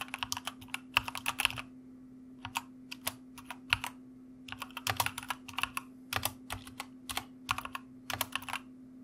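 Both hands tap the keys of a white plastic mechanical keyboard with their fingertips, producing bursts of sharp, bright clicks that come in quick runs separated by short pauses. Each keystroke dies away almost instantly, while a faint steady low hum runs underneath throughout.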